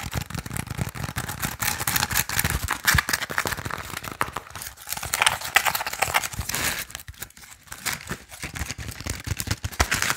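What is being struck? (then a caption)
Woven bamboo sticky rice basket. Fingernails tap and scratch rapidly on the woven sides of a small, hollow Lao sticky rice basket made of bamboo strips with colored bands. The result is a dense, fast stream of dry, crackly clicks and rasps, bright and crinkly, with each hit dying away almost at once. The flurry eases briefly around the seventh second before picking up again.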